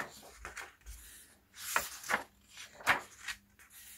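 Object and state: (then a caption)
Paper photobook pages being turned. Fingertips with short nails turn the paper pages of a hardcover album photobook lying open on a black cloth, one by one, and smooth them flat. Soft, airy rustling and brushing build into four brighter swishes as pages flip, with quiet handling between them.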